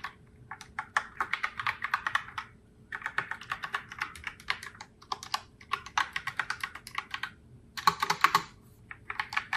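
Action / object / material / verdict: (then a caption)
tap / plastic mechanical keyboard / plastic / none. Fingertips with long nails type steadily on a pink Logitech Pop Keys mechanical keyboard with round plastic keycaps, sitting in its open box. Bursts of quick, clacky plastic clicks with bright tops die away almost instantly, broken by brief pauses between runs of typing.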